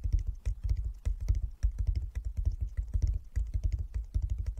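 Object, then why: Wooden chess board. A flat wooden chess board with light and dark inlaid squares is tapped with the fingertips of both hands. The result is a quick, uneven patter of soft, low, dull knocks that die away almost instantly.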